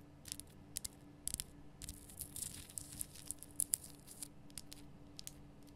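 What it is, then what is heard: Himalayan rock salt lamp. Long nails scratch and tap the sides of a large, rough, glowing pink Himalayan rock salt lamp, a solid salt block. Quiet, dry, bright clicks and gritty scraping crackle irregularly over a faint low steady hum, each tap dying away almost instantly.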